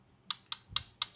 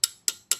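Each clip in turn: First: Four bright metal-on-metal clinks with a brief high ring: a steel rod sounding hollow, not yet seated. Second: Three sharp, bright metal ticks with almost no ring; the steel rod now sits solidly against the crankshaft.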